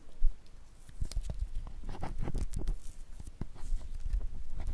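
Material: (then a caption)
Glycerin soap. A palm-sized solid bar of clear, translucent glycerin soap, held in one hand, is scraped with a wooden-handled metal loop carving tool that carves thin curls, which pile up behind it. The scraping gives a string of soft, crisp, short strokes with low thuds and brief bright streaks, and little ring after each.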